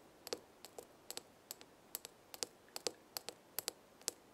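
Long red nails tap the glass side of a small glass jar with a gold metal lid, full of dried herbs. Eighteen light, sharp taps come in an uneven rhythm, often in quick pairs, each a bright click with a faint tone near 460 Hz. The taps die away almost instantly in a quiet background.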